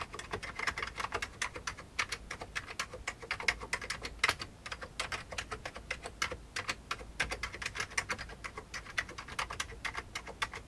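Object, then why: Plastic computer keyboard. Both hands type with their fingertips on a full-size old beige plastic mechanical-style keyboard resting on a desk. Rapid, bright key clicks patter in a steady, uneven stream, each one short and dry with a sharp snap centred around 2 kHz. There is very little low-end weight.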